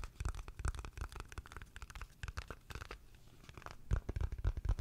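A small, hollow, dark grey rectangular gift box lid, likely cardboard with a white interior edge, is held in both hands close to the microphone and tapped and scratched with long fingernails and fingertips. Rapid dry taps and thumpy, low hollow knocks mix with brief scratchy crackles, each dying away almost instantly. The tapping thins out near the middle, then comes back louder and denser at the end.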